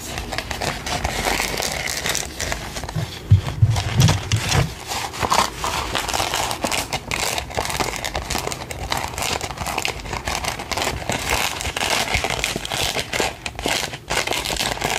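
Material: Paper.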